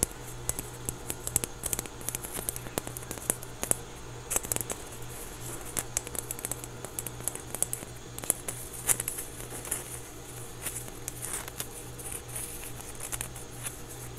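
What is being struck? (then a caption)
Small foam stress ball. A small, solid, soft orange foam stress ball with a basketball pattern is held in both hands and scratched and tapped with fingertips and nails. Dense, irregular quick taps and crisp scratching give bright, short clicks over a steady low hum, staying fairly quiet throughout.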